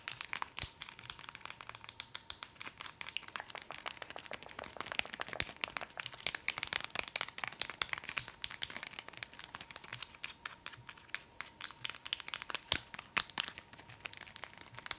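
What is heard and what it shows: A small, soft tailor's measuring tape with a green plastic end piece is held in the hands and tapped and scratched with long acrylic nails. Fast, dense runs of sharp, dry clicks mix with crinkly scratching, bright and thin with almost no low end. A faint steady tone hums underneath throughout.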